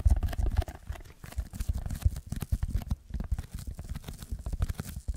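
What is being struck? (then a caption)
Packing foam sheet. Fingertips scratch and tap the textured surface of a rectangular red packing foam block held in both hands and tilted. The result is a rapid run of soft, dull, low taps and scratchy rustling that quickly dies away after each touch.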